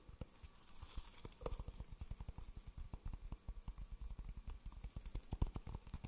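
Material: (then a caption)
Coconut shell. Fingertips tap the husky outer surface of a hollow, empty, dry coconut shell half held beside a fuzzy microphone. A quick, uneven run of soft, dull knocks sounds deep and hollow, like clip-clopping hooves. Each knock dies away almost instantly over a faint high hiss.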